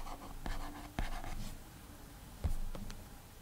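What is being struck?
Glass tablet touchscreen rubbed by a fingertip.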